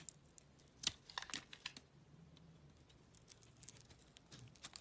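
A utility knife blade scrapes the pink-purple coating off a small, solid oval soap bar with a cream core, held in the hand. The sound is a quiet series of short, crisp, bright scraping and crinkling ticks, loudest near the start, with little low end and almost no ring.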